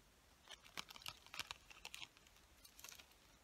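Long fingernails tap and scratch on a hand-sized, clear plastic package full of colored pencils held in the hands. A quick, irregular run of sharp, dry, bright clicks and crinkly scrapes sounds, each dying away almost instantly with almost no low end. The result is a quiet, crisp patter that resembles typing.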